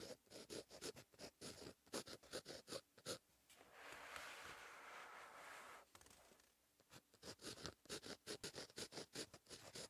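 A ballpoint pen tip scratches across the lined paper page of a paperback notebook in continuous handwriting strokes. Quick, bright scratchy strokes come in a rapid, uneven rhythm, broken in the middle by a steady, longer rasp of about two seconds. The short strokes then resume to the end.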